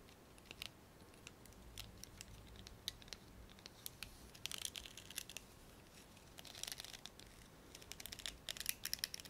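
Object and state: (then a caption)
Plastic hairbrush bristles. Fingertips and short nails flick and strum the stiff black plastic bristles of a small blue plastic hairbrush with a hollow plastic handle and a detachable bristle head. The result is quiet, dry, bright ticking and crackling, scattered at first and then bunching into denser bursts of rapid clicks toward the middle and end. Each click dies away almost instantly, with little low-end body.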